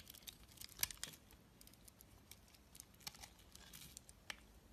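A utility knife blade shaves and scrapes thin flakes off a solid rectangular bar of white soap with a green outer layer, held in the palm. The result is a quiet, bright, crisp crackling and scraping made of many short ticks and rasps, with a sharper snap near the start and little low end.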